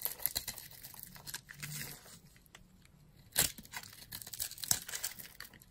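A yellow-handled blade cuts and scrapes a grid into the dry surface of a solid, palm-sized orange bar of soap held in a hand with long glittery nails, with crumbs falling off. Bright, crisp scraping and crunching with soft crumbly crackles, including a sharp louder cut near the middle and another later.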